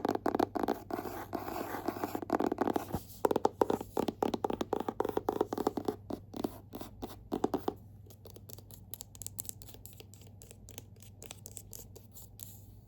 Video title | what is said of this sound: ASMR Book Tapping & Scratching, 2025 Book of the Month Rankings *tingles* *lofi* *whisper* *soft-so | they're all hard cover. So, fun to tap and scratch on.